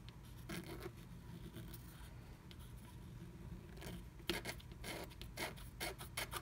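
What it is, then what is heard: Scratch art paper being scratched. A wooden stylus scratches through the black coating of a scratch art card beneath a blue stencil, filling in letters as flakes of coating come away. Short, dry, bright scratching strokes rise over a steady low hum, sparse at first and then quicker and denser toward the end.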